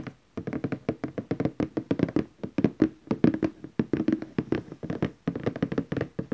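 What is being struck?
Glossy cardboard box lid.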